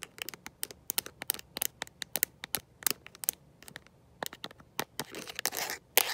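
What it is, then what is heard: Plastic phone case. A smartphone in a mint-green rubber and plastic protective case, held in one hand, is tapped and scratched by long nails fitted with metal paperclips. Quick, sharp, bright clicks come in a rapid irregular run, then turn into longer rasping scratches near the end. Each tap dies away almost instantly.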